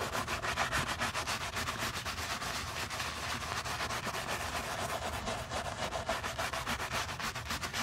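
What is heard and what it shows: A stiff-bristle brush with a wooden handle scrubs the soap-foamed leather upper and heel of a single white leather Miu Miu low-top sneaker, its hollow body held by a gloved hand. Rapid, fairly steady back-and-forth strokes, about three to four per second, make a continuous bright, bristly scratching hiss with a wet, foamy edge.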